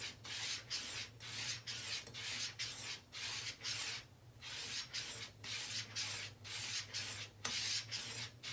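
A straight razor is stroked back and forth along a long, flat, flexible brown leather strop hooked to a door frame and held taut by one hand. About eighteen bright, hissing rub-and-scrape strokes come in a steady rhythm, each with short gaps between them, over a faint low hum.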